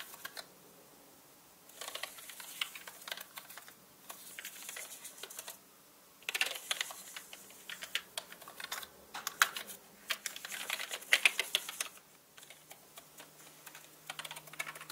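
A paintbrush with orange bristles brushes along the hollow plastic keycaps of a black mechanical computer keyboard, with spare brushes lying still beside it. Bursts of bright, dense rustling and rapid clicks come and go with quiet gaps between them, the clicks dry and short with almost no ring.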